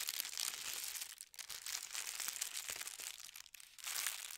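A folded white tissue paper sheet with a gold star print rests on a patterned blanket while fingertips run along and smooth the fold. The result is a steady, bright crinkling and rustling with almost no low end, dipping briefly around 1.3 and 3.5 seconds before resuming.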